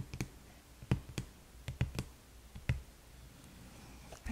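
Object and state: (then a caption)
Cardboard gift box tapped with nails. Long nails tap and scratch along the side of a small red cardboard gift box held upright on its edge. About nine short, dull, low taps land at an uneven pace, with faint scratching in the quiet gaps between them.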